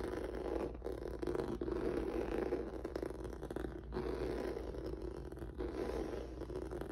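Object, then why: Textured rubber noodle mat. Fingertips and nails scratch across a flat black rubber or vinyl mat with a noodle-textured surface resting on a wooden table. The result is a steady, mid-pitched scratchy rasping in repeated strokes, broken by a few brief pauses, over a low background hum.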